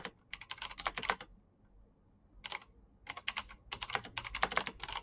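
Fingertips of both hands type fast on a black plastic backlit mechanical keyboard with clicky switches, producing dense bursts of sharp, bright clicks that stop quickly. A burst of typing is followed by a brief pause of about a second with only a faint low hum. The typing then resumes in rapid runs to the end.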